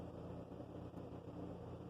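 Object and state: Nothing is struck.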